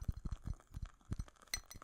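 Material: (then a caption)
Glass. Clinking comes from the glass jar of a lit candle, a series of short, quiet taps with little ring. The taps are heavy in low frequencies, with a few brighter clinks near the end.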